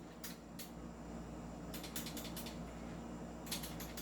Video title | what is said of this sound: Kwentuhan Session Tanungan Portion Ep.139 | Ayun, kumakalog. Yung sa akin, dahil upgraded, hindi siya umaalog.